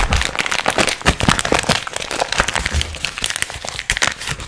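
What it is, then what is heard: Plastic candy wrapper being crinkled. Fingertips crinkle, squeeze and shake a small green printed plastic film gum packet, a soft, hollow candy wrapper bag. It gives a dense run of bright, crackling plastic crinkles with short snaps and soft low rustles underneath, continuing steadily throughout.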